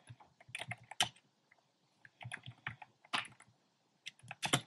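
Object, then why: Plastic mechanical keyboard. Fingertips with short painted nails type on a compact plastic mechanical keyboard with round pastel plastic keycaps in a dark frame. Quick bursts of crisp, bright keystroke clacks with a low thock underneath come in clusters separated by short pauses, and each stroke stops almost at once.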